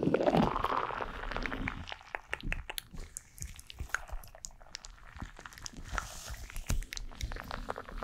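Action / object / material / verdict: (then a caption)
tap / gel-filled soft rubber squishy ball / soft rubber / none. Long black acrylic nails tap and scratch on a hand-sized, purple, glitter-filled soft rubbery gel squishy stress ball. It opens with a louder squishy, crunchy rubbing, then settles into a rapid, irregular stream of quiet, crisp clicks and light scratches over a soft low rumble.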